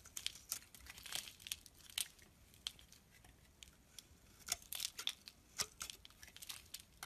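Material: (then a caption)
Soap. A metal blade shaves curls off the surface of a rectangular, solid mauve bar of soap held in the palm. It makes quiet, dry, crinkly scraping strokes in irregular bursts, bright and high with almost no low end, each ending abruptly.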